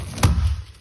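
A single dull, low thunk comes from the foam core of an old Futuro fibreglass panel (panel B1), where the core has come loose from the inner laminate skin with water sitting underneath. The core is not bonded at all. The thud is almost entirely low-frequency and dies away quickly.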